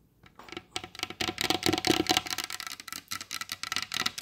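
Long blue acrylic nail tips tap rapidly on the glossy varnished top of a large solid wooden table. They make a quick, uneven run of sharp, bright clicks with a light hollow knock. Each tap dies away almost instantly, with very little low rumble.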